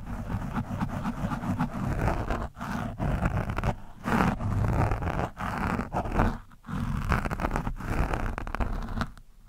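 A screwdriver tip scratches across an orange foam windscreen on a microphone, producing close, heavy, low rumbling scrapes with a rough, grunting texture. The scratching comes in sustained bursts separated by brief pauses.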